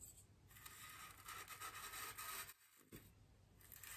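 A bristle paintbrush is rubbed and brushed over a large solid white polystyrene foam wreath ring, held by a hand with long green nails. Soft, dry, scratchy brushing strokes run almost continuously with a bright hiss, broken by a brief quiet gap near the middle before the rubbing resumes.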